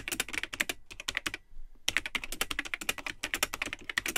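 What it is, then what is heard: Plastic computer keyboard being typed on. Fingertips type continuously on the built-in keyboard of a vintage Tandy 1000 HX all-in-one computer, with a cream plastic case and yellowed, hollow plastic keycaps. The rapid keystrokes are bright, short and clicky, with almost no ring. They pause briefly around the middle, then resume at a steady pace.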